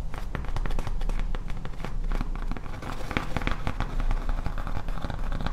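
Fingertips and long nails tap and scratch across a large, flat, solid grey foam Halloween tombstone sign with HALLOWEEN lettering and a skull, held and tilted. A steady stream of quick, dull taps and crackly scratches runs throughout, with short sharp transients over a heavy low rumble.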